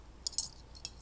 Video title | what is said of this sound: Home made instrument kit | tap them together see what happens so we can tap metals